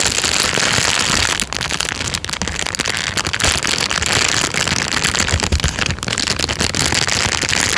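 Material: Plastic.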